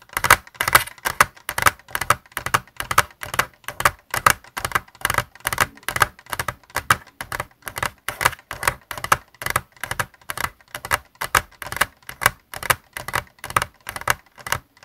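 Fingertips tap rapidly on the upper shell and bumpers of a white plastic Xbox controller lying on a desk. The taps are quick, dry, clicky knocks with no ring, centered in the midrange with little low end. They come in uneven bursts of roughly two per second throughout.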